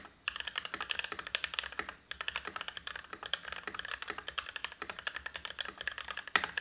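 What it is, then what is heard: Mechanical keyboard with PBT keycaps and plastic case. An Everglide SK87 dual-mode tenkeyless mechanical keyboard with lubed Gateron INK Black v2 switches, PBT keycaps and an ABS plastic case is typed on continuously with the fingertips of both hands. About 56 short, crisp keystrokes sound in a steady rapid stream, each a bright, dry clack with almost no ring, and the typing briefly pauses near the start and around the two-second mark.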